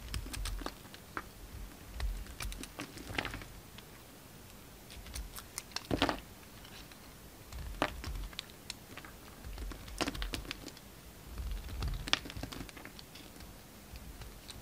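A solid, hand-sized lilac bar of soap is held in the hand while a utility knife carves chunks from it. Short, dry scraping and cutting clicks come in scattered bursts with quiet gaps between them. Bright crisp edges sit over a soft low thud, and there is almost no ring.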